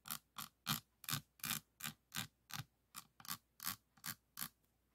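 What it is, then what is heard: Resin diamond painting beads. A pink plastic pen tip taps and clicks on individual resin beads of a diamond painting board resting on a table. Thirteen short, bright clicks come at an uneven pace, each dying away almost instantly.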